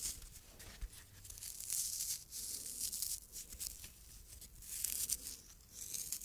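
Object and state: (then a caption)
Fabric pincushion scratched. Long red nails scratch the fabric surface of a small, soft, stuffed red tomato-shaped pincushion with a green top. The result is a dry, bright, hissy scratching with almost no low end, rising and falling in rough bursts across the clip.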